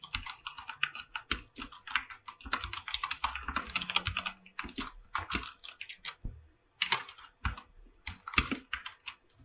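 Fingertips tap and type across a full-size 104-key mechanical keyboard with white and light-blue PBT plastic keycaps on a silver aluminum top plate, resting on a pink surface. Quick bursts of short, bright, clacky keystrokes come in uneven runs with brief pauses, each click dying almost instantly. Near the end, a couple of louder, sharper strokes stand out.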